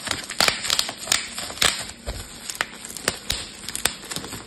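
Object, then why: Plastic bubble wrap sheet. Bubbles on a clear plastic bubble wrap sheet are pinched and popped with fingertips, giving about fifteen sharp, bright pops at an irregular pace. Each pop snaps and dies away almost at once, with soft crinkling of the plastic between them.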